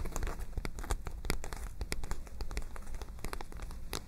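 A medium white lined-paper spiral notebook is held up in both hands while long nails and fingertips tap and flutter its page edges and surface. The result is a steady run of quick, dry crinkling taps and papery flutters over a deep, soft low rumble.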